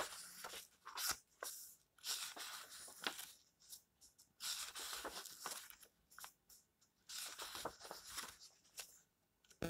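Fingertips sweep across and turn the yellowed pages of an old paperback book lying open. Dry, papery rustles and crisp page flips come in quiet bursts, bright and thin with almost no low end, separated by brief near-silent gaps.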